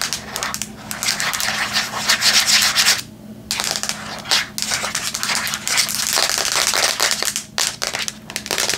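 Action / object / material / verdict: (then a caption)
scrape / tablet with metal back / metal / none. Long nails rapidly scratch and tap the metal/plastic back of a flat Samsung tablet held in both hands. The result is a bright, hissy, crackling scrape with quick taps, broken by brief pauses around 3 and 4.5 seconds.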